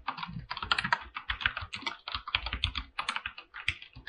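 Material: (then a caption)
Plastic. Fingertips press and tap the keys of a full-size mechanical keyboard with white and blue PBT plastic keycaps mounted on an aluminum plate. A steady, rapid run of crisp, bright clacks comes with soft low thuds beneath each keystroke, and every click dies away almost instantly.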